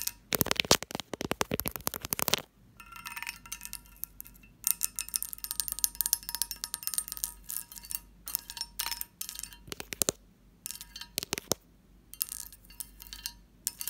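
A textured glass dish is tapped and scratched, giving bright, chime-like clinks and short rings that die away quickly. Dense bursts of rapid tapping alternate with stretches of thin, high scratching and brief quiet gaps.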